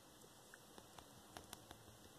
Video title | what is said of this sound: Great Eastern 21" Rouge the Bat Plush Unboxing and Review/Assigning Her a Chaos Emerald! | I don't know if you can hear the tapping but it's a hard-nose not a soft nose